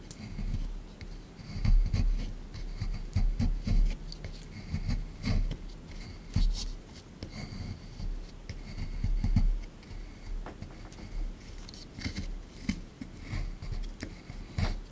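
A solid plaster excavation block sitting in a tray is scraped and chipped with a small plastic digging tool, leaving loose crumbs. The scraping makes a steady, gritty rasp with bright scratchy streaks over a heavy low rumble of dull knocks. The strokes rise and fall in uneven bursts throughout.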